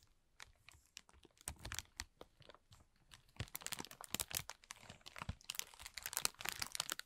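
A thin, clear plastic film bag lies crumpled while both hands scratch and rub it with their fingertips and short nails. The result is a dense run of sharp, bright crinkles and crackles that start sparse and quiet, then grow busier and louder toward the end.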